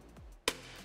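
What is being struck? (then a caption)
Metal door holder. A metal door holder, a tool for propping open car doors during paint correction, is tapped once. It gives a sharp, bright click with a brief metallic ring that dies away almost at once, followed by a faint low hum.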